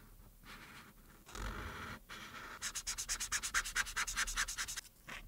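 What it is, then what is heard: Marker coloring on paper. A felt-tip marker in a white plastic body, held by a hand with long red nails, is rubbed across a printed paper coloring page lying flat on a dark board, first laying orange strokes on the arm and then blue on the earrings. Soft, steady scratching and rubbing of the felt tip on the thin, solid paper turns into a quick run of bright, evenly spaced back-and-forth strokes, then tapers off.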